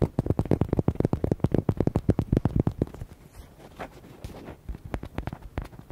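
Fingertips and nails tap quickly on the body of a palm-sized, hollow red rubber duck, producing a rapid run of short, dull, hollow thuds with a low tone. The tapping softens into a quieter, muffled stretch in the middle before brisk, distinct taps return at the end.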